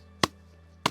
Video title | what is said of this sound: Comment reconnaître le bois sec ? #bois #conseils #astuce #ecologie #froid #hiver #forêt #nature | Vous voyez le bruit sourd